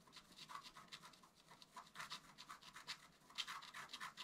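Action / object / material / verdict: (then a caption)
scrape / black-coated scratch art paper scraped with a wooden stylus / coated paper / none. A wooden stylus scratches the black coating of a flat scratch art paper card, with the hand moving over to the squirrel area of the design. Quiet, dry, bright scratching comes in a quick series of short strokes, mostly high-pitched hiss with almost no low end.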